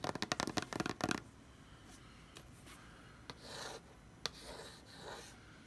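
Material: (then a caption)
Cardboard. Fingertips and long red nails scratch and rub across the printed lid of a closed, hollow corrugated cardboard BarkBox shipping box lying flat. About ten quick, bright, rasping scratches come first, then softer swishing rubs with a couple of sharp taps.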